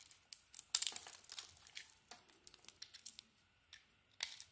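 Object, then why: Soap bar shaved with a metal blade. A solid blue and green bar of soap, mostly carved down to the green, is shaved with a metal utility blade so that curls fall off. Quiet, bright scraping and crisp crackling strokes come in uneven bursts, with a dense flurry near the start and a sharper scrape near the end. Almost nothing sits in the low range.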